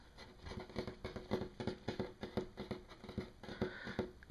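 Fingertips and nails of one hand tap in fast rolls on a large, solid, flat wood-grain tabletop. The result is quiet, dry, pattering knocks with a soft low-mid body and a faint woody tone near 370 Hz, each dying away almost at once, with light scratchy nail clicks on top.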